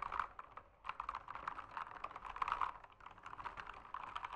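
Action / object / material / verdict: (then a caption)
tap / mechanical keyboard with plastic keycaps / plastic / none. Fingertips type continuously on a backlit mechanical keyboard with plastic keycaps. A steady stream of crisp, short clicks centers around 1 kHz with bright edges and little low end. Each keystroke dies away almost instantly, and the flurries swell and ease at a quiet level.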